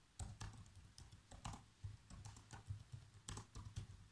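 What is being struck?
Plastic laptop keyboard.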